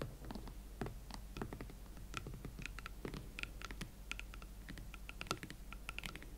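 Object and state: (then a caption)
Leather platform boots. Long nails tap and scratch the smooth leather of an empty pair of hot pink Valentino Club Platform leather ankle boots. The result is a quiet, steady run of short, dry clicks and brushing scratches that die away almost at once, with a bright ticking edge around 1.4 kHz over a low, constant hum.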